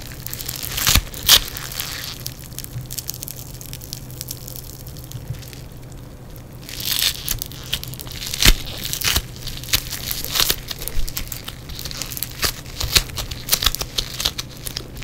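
Yellow foam bead clay is crushed, squeezed and torn by fingers in black nitrile gloves. The result is a dense stream of bright crackling, popping crunches, with louder bursts near the start and through the second half, over a steady low hum.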